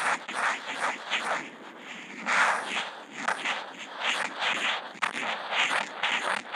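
The felt tip of a Posca marker, picked up by a contact mic mounted on the marker, draws small looping spirals on a flat sheet of white Kent paper. Each loop gives a dry, scratchy swish centered in the midrange with a bright, airy top and no low end. The swishes repeat in an uneven, rhythmic series of scraping strokes.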